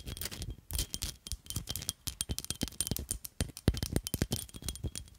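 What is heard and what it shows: A small black glittery glass perfume bottle with a black plastic cap is held in one hand and tapped and scratched with long nails. Quick, irregular dry clicks and scratchy rustles follow one another in a busy, uneven patter, each tap stopping almost at once with a faint bright glassy glint.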